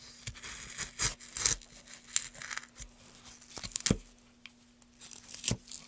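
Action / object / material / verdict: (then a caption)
scrape / softwood board / softwood / none. A gouge carves along the grain of a solid pale softwood board, held with a gloved hand, scraping off shavings. Bright, dry tearing and scraping strokes come in irregular bursts over a faint steady low hum.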